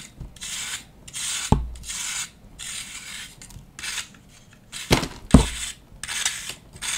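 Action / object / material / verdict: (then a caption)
scrape / compressed baking soda or chalk block / baking soda / none. A hand-sized solid disc of compressed pale green baking soda or gym chalk, held in the palm over a dark bowl, is scraped and shaved with a knife blade so it crumbles into powder. Repeated bright, rasping scraping strokes come in bursts, with a few sharp low knocks between them.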